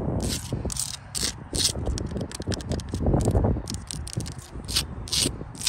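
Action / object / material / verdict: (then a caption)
scrape / rough sandstone block wall / sandstone / none. Long blue acrylic nails scratch across the faces and crevices of a rough, solid sandstone block wall. The result is a quick run of gritty, rasping strokes with bright hissy bursts over a low rumbling undertone.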